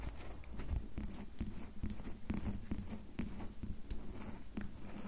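A solid red bar of soap is held upright while long fingernails scratch and tap its carved surface. Quick, dry scratches and light taps come in a steady run of short bursts, each with a bright, crisp edge and almost no ring.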